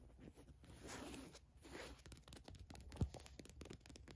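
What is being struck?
Cotton t-shirt with a printed logo.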